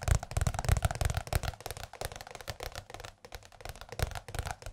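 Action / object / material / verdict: tap / large softcover book / paper / none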